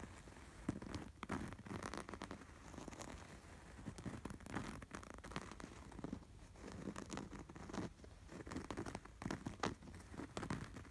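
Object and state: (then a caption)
Canvas throw pillow with embroidered appliqué. Fingertips scratch and tap quickly across the textured embroidery of a cream canvas throw pillow with a red appliqué sweater, a soft, stuffed cushion. The result is a steady stream of dry, scratchy rustling and crinkling, broken by many quick, soft taps that die away almost instantly over a muffled low body.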